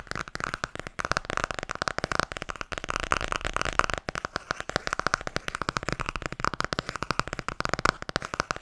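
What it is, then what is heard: Hardcover book tapped. The back cover of a blue Tarot hardcover book is tapped quickly with long nails and fingertips. It makes a dense, continuous stream of short, dry clicks and soft thuds with a hollow tone around 1.3 kHz. Each tap dies away almost instantly.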